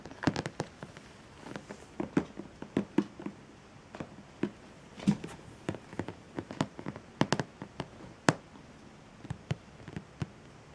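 A medium clear plastic storage box with its lid closed, full of bagged pencils, markers and crayons, rests on a pink quilt while fingertips and nails tap and rub across the lid. Many short, dry clicks and taps sound over a faint rubbing hiss, each stopping almost at once.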